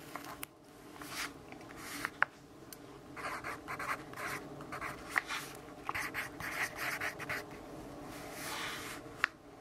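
A yellow wooden pencil held in the fingers writes and scratches across the page of an open, thin, flat lined paper notebook resting on a wooden table. Quiet, bright, papery scratching comes in uneven bursts of strokes, with a few sharp little ticks as the pencil tip meets the page.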